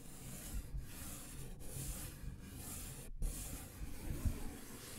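A thin, flat brown paper envelope is held in front of a microphone and scratched with fingertips and nails. The result is a continuous, low, rubbing scratch with a soft hiss, briefly broken by short pauses.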